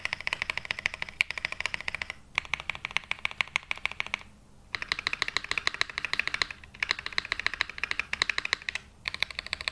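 A black Glacier 80 mechanical keyboard with London Fog switches and ABS plastic keycaps, resting on a felt mat, is typed on by one hand's fingertips pressing individual keys and the spacebar. Rapid runs of short, bright clacks come in bursts, with brief pauses between them, and each click dies away almost instantly.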